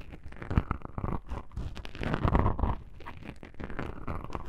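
Long pink-painted nails scratch two small black foam windscreen covers on a binaural microphone. The result is a dense, muffled stream of low, rumbling crackles and rustling scrapes with no bright top end, swelling louder in the middle before easing back.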